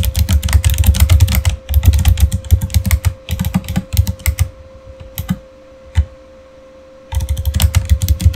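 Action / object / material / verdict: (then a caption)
tap / plastic mechanical keyboard / plastic / none. Fingertips type fast on a backlit Razer Fire mechanical keyboard with clicky plastic keycaps, producing rapid bursts of sharp clicks with deep thocky bottom-outs and bright tops. The typing pauses briefly and then goes mostly quiet in the middle, with only a few lone key presses, before another fast burst. A faint steady hum runs underneath throughout.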